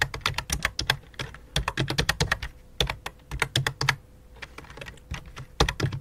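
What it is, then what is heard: Plastic computer keyboard. A full-size white and light-blue plastic computer keyboard resting on black cloth is typed on rapidly by both hands using fingertips and long dark nails. About three dozen quick, bright clacking key taps, each with a low thump beneath, come in bursts separated by brief quieter pauses, with a faint steady hum underneath.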